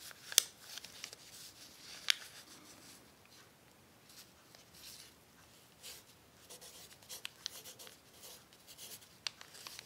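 A hand writes steadily with an orange pencil on a crumpled, thin sheet of crinkly brown kraft paper, jotting down cookie recipes. Quiet, dry, bright scratching strokes run throughout, with soft papery crinkles and a few sharp little ticks where the pencil catches the creased paper.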